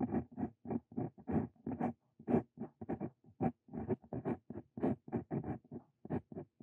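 A steel dip pen nib, a Brause Cito Fein, scratches across a sheet of lined paper as a hand writes out a new line. Short, dry scratching strokes come in quick, uneven bursts with brief pauses between them. The sound is mostly low-mid with little high content.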